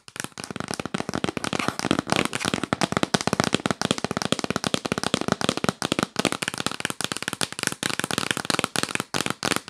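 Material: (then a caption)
Cardboard. Long nails tap fast and aggressively on the lid of a yellow printed cardboard box held upright. A dense, unbroken stream of sharp, dry clicks and rattles runs throughout, each tap short with no ring, spread broadly from low thuds to bright highs.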